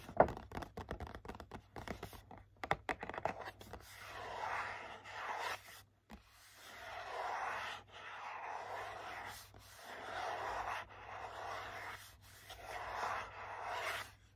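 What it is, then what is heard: Cardboard gift box. Short nails tap quickly on the back of a hollow, printed cardboard hand cream box, making a run of sharp, light clicks. The nails then scratch across it in repeated swells of dry, papery rasping, each lasting about a second with brief pauses between.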